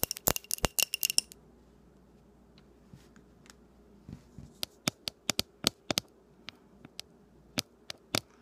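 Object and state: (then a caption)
Glass candle jar tapped with fingernails. Long painted nails tap the side and rim of a small glass candle jar filled with pink wax, held up close. A quick flurry of sharp, bright clicks opens the clip, then individual crisp taps with almost no ring come at spaced intervals over a faint low hum.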